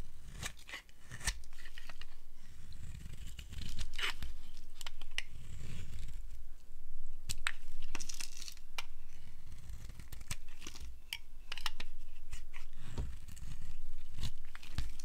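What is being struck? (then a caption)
Bar of soap. A solid blue striped dry bar of soap is shaved in long strokes with a flat blade, peeling off long curls. Rapid, irregular dry scraping and crisp tearing-like strokes follow one another throughout, with a low rumbling undertone and sharp bright edges on each stroke.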